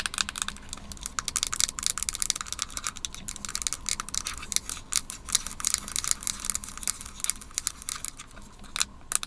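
Long nails tap rapidly on the plastic shell and aluminum base of a small white Apple Magic Mouse held above a wooden table. The result is a steady stream of crisp, bright clicking taps that stop dead with no ring and carry very little low end.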